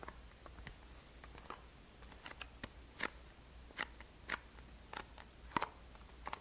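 Long fingernails tap and scratch a small black and green Boscia cardboard box, making a run of sharp, dry clicks and brief scrapes. The short ticks are spaced irregularly over a low, steady hum.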